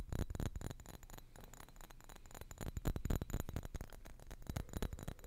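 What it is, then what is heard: Glass perfume bottle. A small, solid-walled dark glass perfume bottle with a sprayer top, probably at least partly full, is held upright in both hands just above the microphone and tapped with fingertips and nails. Rapid, irregular taps give dull, low thuds with faint glassy clicks that die away almost instantly.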